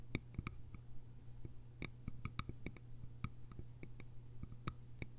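Long nails tap and scratch the sides of a small, hollow, cylindrical bamboo container with a lid, producing quick, quiet, sharp clicks with a short, bright, woody ring. The taps come in an irregular stream over a steady low hum.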